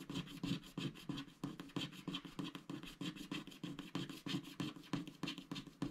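A wooden stylus scratches the black coating of a flat scratch-art paper sticker sheet with giraffe sticker motifs, lying on a dark mat while the other hand holds the sheet. It makes quick, dry, rasping strokes, roughly three per second and somewhat uneven, each a short scraping burst with a papery low-mid body and a bright hiss. The strokes stop abruptly with almost no ring.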